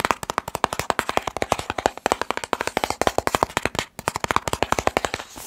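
Fingertips tap rapidly along the sides of a long, hollow, white and blue printed cardboard box. About 40 quick, dry, hollow taps follow one another with almost no ring, each with a papery knock centered near 960 Hz.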